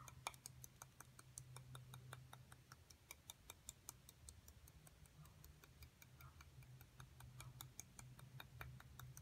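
A metal two-prong seafood pick repeatedly scratches and taps the top of a solid, brick-sized white plaster excavation block with embossed text, while the other hand rests on the block. A quick series of short, sharp, bright ticks and light scrapes comes through over a steady low hum. Each tap dies away almost instantly.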